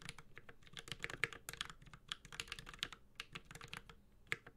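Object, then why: Mechanical keyboard with aluminum case and plastic keycaps. A 65% mechanical keyboard with an aluminum case and plastic keycaps is typed on with the fingertips of both hands. Rapid, bright key taps with short clacky attacks follow one another in an uneven stream, each dying away almost instantly. A few taps land noticeably harder than the rest.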